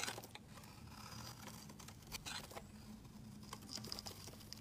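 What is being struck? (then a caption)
Bar of soap scraped by a metal blade. A metal utility-knife blade scrapes white curls off a rectangular solid white soap bar held in the hand. Soft, bright, crinkly scraping strokes come in irregular bursts over a steady low hum. The result is a quiet, dry shaving sound.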